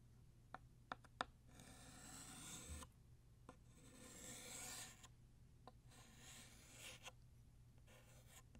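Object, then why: Chalk on a chalkboard. A hand with painted nails draws a stick of blue chalk across a flat, solid black chalkboard, making long scratchy, bright rasping strokes. Short sharp taps of the chalk against the board come between the strokes.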